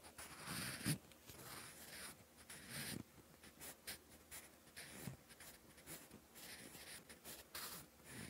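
A sharpened wooden pencil scratches across a lined, textured paper notebook page in writing strokes. Soft, dry scratching comes in short, bright bursts separated by brief pauses, with a louder stroke near the start.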